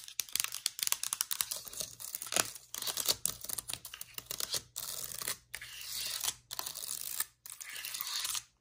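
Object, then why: Laptop keyboard with plastic keys. Long pointed nails tap the black plastic keys of a MacBook Air keyboard and the aluminum area near its trackpad. Rapid, bright clicking taps fill the first half; the second half turns into longer, hissy scratching strokes separated by brief silences.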